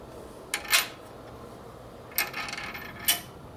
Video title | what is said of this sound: 1972 #142 1000cc ironhead sportster bike rebuild repair street tracker harley by tatro machine | hear that solid sound that makes against the swing arm. That's good. Yeah, that means it doesn't bottom out.